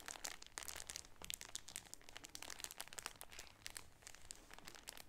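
A cream shower curtain folded inside a clear plastic bag, back side up, is crinkled and squeezed with both hands. Dense, bright crackling and crinkling of the plastic fills the clip, with rapid sharp snaps over a faint low rumble. Each crackle stops almost instantly, with no ring.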